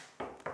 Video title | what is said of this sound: SARL ROPARS Carré Innovation | tu vois au son c'est c'est c'est complètement différent c'est une paroie froide